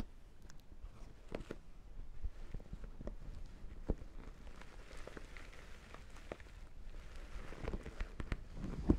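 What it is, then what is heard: Studded faux leather clutch. Long black-painted nails scratch and tap over the metal studs of a small, lip-shaped black faux leather clutch that is hollow and apparently empty. The result is a quiet, low-heavy stream of soft scratching broken by many short, sharp clicks and taps, with a louder tap near the end.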